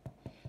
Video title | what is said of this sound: Plain Flour / All purpose flour Bread. No Strong Flour needed. | it's hollow again like you're knocking on a door and that means it's done